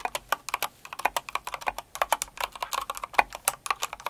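Both hands with long acrylic nails type quickly on a Cinnamoroll-themed kawaii mechanical keyboard with plastic keycaps. About thirty sharp, bright clacks come in an uneven, rapid stream, each dying out almost instantly with no low rumble beneath.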